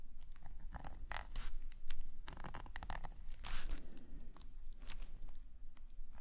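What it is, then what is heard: Metal nib pen scratching on a sketchbook page. A metal nib pen scratches lines across a black paper sketchbook page lying flat on a table, while the other hand rests on the table. Short, dry scratching strokes come in bursts with bright, papery rasps over a low rumble, and some strokes are louder and longer than others.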